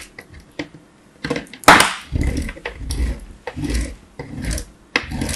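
A small piece of solid hard bar soap, held by the fingertips, is scraped across a perforated metal box grater in repeated strokes. After a few light taps and one sharp, bright scrape, a series of grating, rasping strokes follows, each a bursty rasp with a low rumble underneath.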